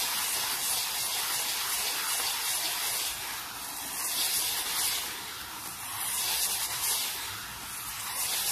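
A small solid wooden board resting on a towel is brushed fast and aggressively with a black-bristled brush, a hand covering much of it. The result is a steady, bright, hissing scratch with slight swells in loudness and almost no low end.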